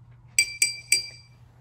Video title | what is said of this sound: Club at Home: DIY Xylophone with Brendan | gently tap it with our spoon as you can see we get a short high-pitched note sort of like a xylophone